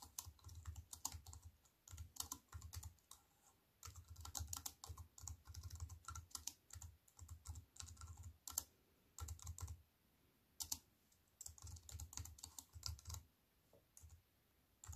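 Fingertips with long white nails type on a compact wireless keyboard with black plastic keys in a thin silver aluminium frame, resting on a wooden table. Quick bursts of bright, crisp key clicks with soft low thumps come in runs, broken by short pauses. Each tap dies away almost at once.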